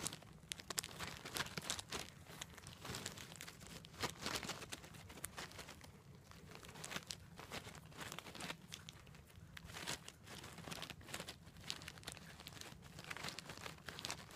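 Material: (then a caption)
Wood, plastic. Long black nails scratch and tap along a thick bundle of long brown wooden incense sticks still in their plastic sleeve. The result is a quiet, continuous stream of bright crinkling and scratching, dotted with many quick, dry taps that stop almost instantly, over a faint low hum.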